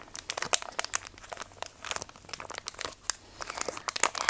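A small, flat, orange soft plastic wipes packet that looks full is held in both hands and squeezed and flexed. It gives a continuous, bright crinkling of quick, sharp crackles with almost no low end.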